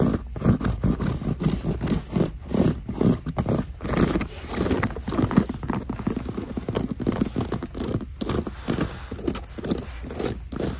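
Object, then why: Quilted faux leather boot. Long nails scratch and tap a black quilted faux leather boot resting in its shoebox, working over both the quilted upper and the smooth shaft. The result is a dense, steady run of soft, muffled scrapes and quick dull taps, heavy in the low end with almost no bright content.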